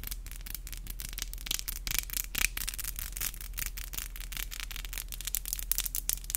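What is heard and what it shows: Long black acrylic nails are rubbed and tapped against each other, producing a rapid series of dry, bright clicks and scratchy rubbing over a steady low hum. The nail-on-nail taps come in quick, closely spaced bursts with almost no ring.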